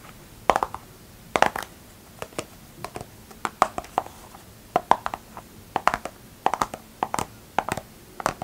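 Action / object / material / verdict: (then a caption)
tap / small soft plastic lotion tube / plastic / none. A small, soft plastic lotion squeeze tube with a cap, hollow and apparently filled, is held in one hand, tapped and scratched with long manicured nails, then handled near the cap. The result is an irregular string of short, dry, clicky taps and scratchy bursts with a mid-range body near 770 Hz and bright edges, separated by quiet pauses.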